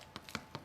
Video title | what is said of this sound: How To Make Gluten Free Crusty Bread -- Gluten Free + Sugar Free + Dairy Free -- Quarantine Kitchen | Hollow will tell you that it's cooked through